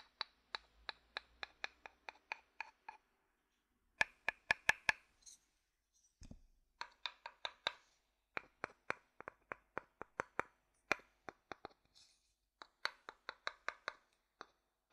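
A rounded, hollow wooden bowl is held upside down and tapped on its outer base with a wooden stick. The taps come in steady runs of short, dry knocks with a woody ring around 1.7 kHz and bright overtones, broken by brief pauses. There is a louder, quicker cluster early on and a single low thud midway.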